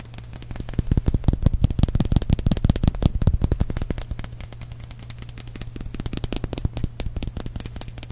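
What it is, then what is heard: Small plastic paste tube. A small, hollow purple plastic balloon-paste tube is held up, tapped and scratched with fingernails, then rolled between the fingers. The result is a dense run of sharp, crackly clicks over a low steady hum, loudest in the first half and then softer.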